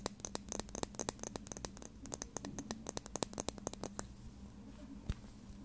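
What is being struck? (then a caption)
Small plastic lip gloss tube. A small plastic lip gloss tube with a dark cap, held in one hand, is tapped and scratched with long red nails. Quick, sharp clicks with bright, crisp tops come in rapid, uneven bursts over a low steady hum for about four seconds. They then thin out to faint scratching and one last louder tap.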